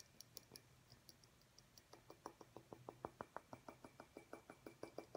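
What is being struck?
Small glass light bulb.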